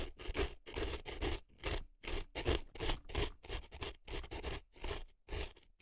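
An earpick scrapes dry floral foam packed into the canal of a right silicone elf ear. The result is a run of short, crisp, crunchy scrapes with a bright, gritty top and a soft low thump beneath. The scrapes come in irregular bursts, about two or three each second, with brief gaps between them.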